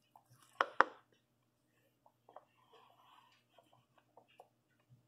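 A fingertip with a purple nail presses the hollow bubbles on the yellow and orange section of a large rainbow silicone pop-it fidget toy. Two sharp, bright pops come close together near the start, followed by a scattering of soft, dull little clicks and pops that fade quickly.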